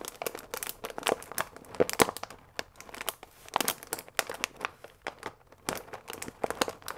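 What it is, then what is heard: Paper pasta bag with plastic window. A full paper fusilli bag with a plastic window, held upright, is squeezed and crinkled with the fingertips. Dense, dry bursts of crinkling and crackling rise and fall throughout, with bright high-end rustle and almost no low rumble.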